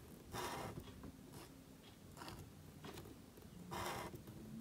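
A calligraphy marker nib scratches strokes across a thin, flat sheet of black cardstock held flat. Short, dry, papery scratching bursts rise and fade, carrying a bright hiss and a faint tone near 940 Hz over a quiet, low background rumble.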